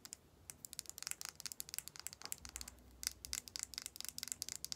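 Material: Plastic.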